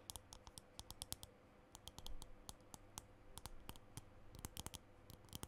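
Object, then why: Plastic lipstick tube. Fingernails tap and click on the case of a small green plastic lipstick tube held close to the microphone. The result is a quick, irregular series of sharp, bright clicks that stop almost instantly, over a steady low hum, with a brief louder rustle near the middle.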